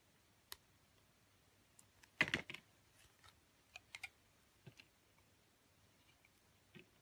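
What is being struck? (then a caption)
Bar of soap cut with a metal blade. A metal utility blade peels thin green curls off a green oval bar of soap. Short, crisp, bright scraping clicks come in a scattered, quiet series, with a louder rasping cluster near the two-second mark, over near silence.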